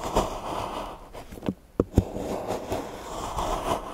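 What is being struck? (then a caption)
Milk chocolate bar scraped with a steel knife. A large steel knife shaves and scrapes curls from the edge of a solid milk chocolate bar on a patterned board while fingertips hold the bar. Dry, rustling scraping fills most of the clip. A quieter gap near the middle is broken by short, sharp ticks.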